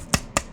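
Two sharp taps on a CGC plastic graded card case, each a short clicky knock with a quick decay and no lingering ring. The case is tapped so its sound can be compared by ear with TAG and PSA cases.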